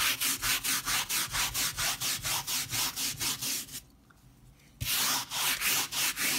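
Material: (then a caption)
Textile. A white plastic bristle brush scrubs back and forth across the pile of a leopard-print textile rug that is still powdered and mostly dry. It makes bright, scratchy rubbing strokes in a quick, steady rhythm of about two per second. The strokes stop for about a second, then resume at the same pace.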